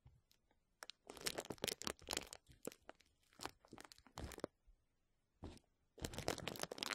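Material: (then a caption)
Plastic. Crumpled clear plastic bubble wrap held over the mic is scratched and squeezed with fingertips and short nails. Bursts of bright, crackly crinkling and rustling come in uneven clusters separated by short quiet gaps, with a loud, dense stretch at the end.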